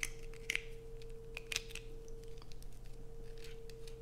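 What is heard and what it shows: Long acrylic nails scrape a solid blue bar of soap held in the hands, sending shavings falling. Sharp, bright scratching bursts and crisp clicks sit over a steady low hum and a constant midrange tone.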